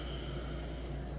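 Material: Nothing is struck.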